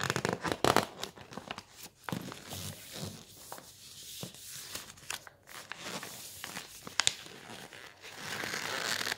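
Fingertips grip and bend the pages of a large, thin, shiny coated-paper brochure with a floor-plan page, lying on a wooden table. The pages crinkle and crackle in sharp, bright snaps between softer rustling, loudest near the start. The clip ends in a steadier, brighter papery hiss.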